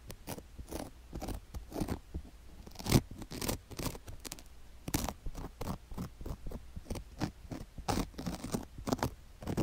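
A wooden stick held in the fingers scrapes across a sugar-covered silicone ear mounted on a microphone block. A rapid, uneven series of short, dry, crunchy scratches and grainy crackles follows, with a few louder scrapes standing out.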